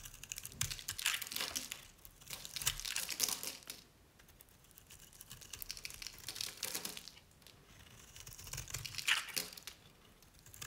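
A utility knife blade shaves and scrapes curls off an oval, cream-colored dry bar of Nevskaya Cosmetics soap held in a hand with long nails. Bright, dry crinkling and crisp scraping come in irregular bursts, with a quieter stretch of lighter scratching in the middle before the louder shaving returns.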